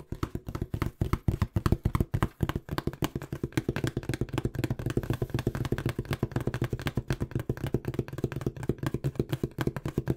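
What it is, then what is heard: Cardboard box. Fingertips tap fast on the faces of a small, hollow, empty-looking brown corrugated cardboard box. It makes a rapid, continuous run of dull, hollow knocks with a deep, boomy body around 98 Hz and almost no bright edge. Each tap dies away almost instantly.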